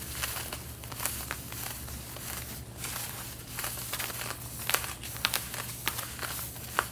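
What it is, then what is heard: Denim jeans scratched with fingernails. Long red-painted nails scratch the side and back pockets of light blue denim jeans being worn, making a steady, bright, rough rustle of fabric. Sharper scratches and ticks stand out toward the end over a low steady hum.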